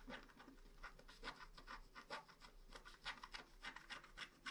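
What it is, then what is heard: Wax-coated scratch art card. A wooden stylus scratches the rainbow area at the lower right of a flat black wax-coated paper scratch art card. It makes a quiet, quick series of dry, bright scraping strokes with soft rasping texture and little low end.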